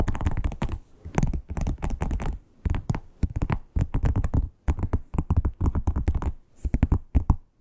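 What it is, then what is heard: Croc-embossed leather wallet. Long acrylic nails tap and scratch across the embossed scales of a flat red croc-embossed leather wallet. Quick bursts of dull, low taps and dry scratching come in rapid clusters separated by brief pauses, each sound dying away almost instantly.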